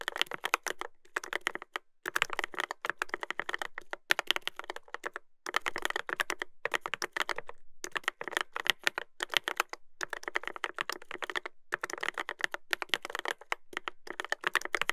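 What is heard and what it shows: Fingertips type continuously on the plastic keycaps of a Dolphin 2021 mechanical keyboard with a brass plate. Rapid bursts of sharp, dry clacks come in quick runs separated by brief pauses. The sound has a bright, mid-high tone with little low end, and each keystroke cuts off almost instantly.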